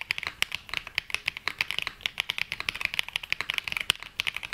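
A black Glacier 80 mechanical keyboard, an 80% board with London Fog switches and navy and mint ABS keycaps, rests on a felt mat and is typed on quickly with the fingertips of both hands with pink nails. About 36 fast keystrokes come through as crisp, bright clacks centered near 2–3 kHz, each dying away almost instantly with almost no low end.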